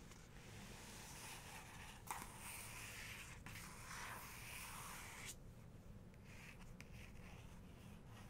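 Long nails trace and scratch across the paper of an open photography book's full-page portrait while the other hand holds the page edge. A soft, steady, bright papery scraping hiss runs for about five seconds, with a small sharp scratch near the two-second mark, then thins to a quieter rustle with a few faint ticks.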